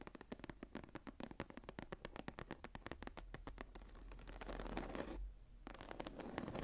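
Long nails rapidly tap and scratch the raised geometric star emboss on a closed dark brown leather journal lying flat. Quick, dry clicks repeat in a steady patter and blend into a denser, continuous scratching. The scratching briefly drops out near the end, then the tapping resumes.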